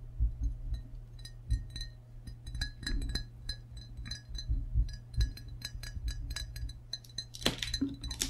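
A hollow, glazed ceramic frog mug is held in both hands while fingertips and nails tap its belly and rim area. The result is a quick series of light, bright clinks with short glassy rings over a steady low hum. A louder, noisier burst comes near the end.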